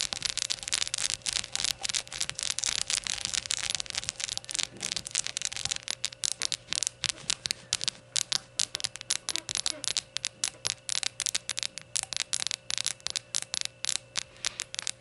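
Long nails scratch and tap the glossy sides of a small hollow rainbow-glazed ceramic shot glass standing on a towel. Dense, bright scratching fills the first few seconds, then gives way to rapid, crisp clicking taps that die away almost instantly. A faint steady low hum runs underneath throughout.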